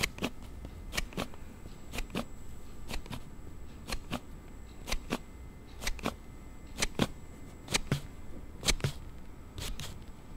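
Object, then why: Hard plastic sliding phone case. A hard plastic slide case on a Note7 phone has its card panel slid repeatedly by thumb, giving about twenty sharp, bright snapping clicks, often in close pairs, over a low, quiet background. The clicking from the case is an unexpected, abnormal sound.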